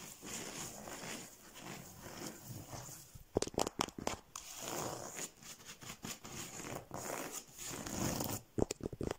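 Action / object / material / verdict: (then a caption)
scrape / woven rush chair seat / rush / none. Fingertips and nails scratch and tap the twisted strands of a woven rush or paper-cord chair seat pulled taut over its frame. A steady dry, crinkly rasp runs throughout, broken by two clusters of quick, sharp taps near the middle and at the end.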